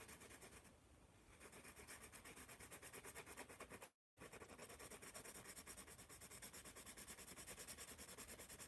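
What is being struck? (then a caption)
Wooden pencil on paper notepad. A wooden pencil writes and scratches across a sheet of a spiral paper notepad held in the hand. Quick, rhythmic strokes make a dry, papery rubbing with a bright, hissy edge. There is a brief silent gap midway before the scratching resumes.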